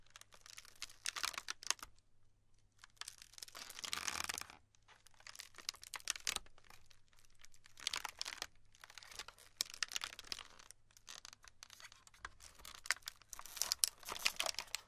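Hands with long pink nails press, rub and squeeze a large, round, solid slab of glued pastel styrofoam beads resting in a black tray. Dense, bright crackling and crinkling comes in bursts with short quiet gaps, with sharp snaps and squeaky pops and almost no low end.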